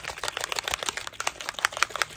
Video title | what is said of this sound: Snow cap vs no snow cap, a demo showing the difference with this unique mixative | you wanna shake it until you hear that metal ball